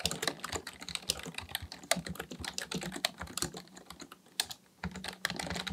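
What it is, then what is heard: Plastic computer keyboard being typed on. Fingertips of both hands type continuously on a black plastic full-size Dell KB1421 membrane keyboard with a hollow housing, resting on a desk, pressing and tapping the keys. A rapid, uneven stream of short, bright, hollow clacks, each dying away almost instantly, breaks into a brief quiet pause near the end before the typing resumes.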